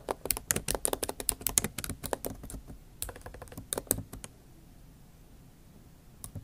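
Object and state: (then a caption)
Laptop keyboard being typed on. Both hands type with long acrylic nail tips on the plastic keys of a MacBook Pro backlit keyboard set in an aluminium body. The result is a fast run of sharp, bright clicks, with the taps clustered most densely in the first four seconds. Near-silence follows until a few final taps at the end.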